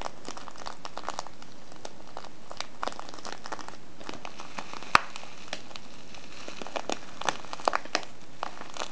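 The fingers of both hands fold and crinkle the top of a small, filled kraft paper tea bag with a window. The sound is soft, irregular paper crinkling and crackling, with one sharp, bright snap midway and a cluster of crisper crackles near the end.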